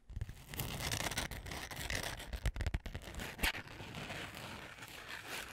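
Long manicured nails scratch and tap the textured glitter surface of a flat, book-sized notebook with a rose gold glitter cover, held upright close to the microphone. A continuous dry, gritty rasping runs throughout, broken by sharper clicking taps and a low, muffled thump underneath.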